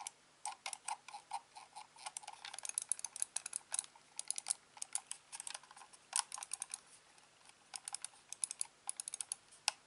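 A thumb and fingertips click the buttons of a hand-sized, hollow, black plastic corded mouse, producing a rapid, uneven stream of dozens of sharp, quiet clicks. Each click is dry and bright, centered around 830 Hz, and dies away almost instantly with no ring.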